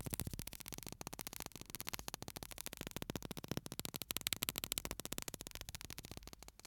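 A small clear bottle filled with white sand and topped with an aluminium cap is held upright in one hand, then tilted and shaken so the sand pours inside. It gives a quiet, steady, rapid grainy crackle that is bright and broadband. The rustling swells slightly in the middle before thinning out at the end.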